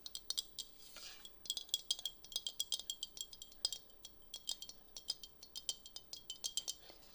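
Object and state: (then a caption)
Glass flower vase. A glass flower vase is tapped in a quick, uneven series of light taps. Each tap gives a bright, short clink with a high chiming ring around 3.3 kHz that fades almost at once. A soft brushing sound falls between some of the taps.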